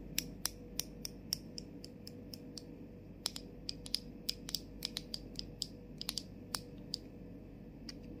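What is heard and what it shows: A medium plastic Bath & Body Works-style fragrance mist bottle, hollow and partly filled with liquid, with a clear plastic cap over a gold sprayer and a rainbow label, is tapped and scratched on its cap and body with long acrylic nails. Around two dozen sharp, bright clicks ring out with almost no decay, spaced unevenly over a steady low background hum and faint scratching.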